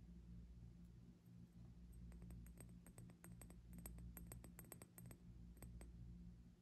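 Long nails tap and scratch the bulbs of a small, clear, hollow glass hourglass partly filled with pink sand, which is held sideways and then set upright. Quiet, sharp, bright clicks come in irregular clusters over a steady low hum, with light scratching between the taps.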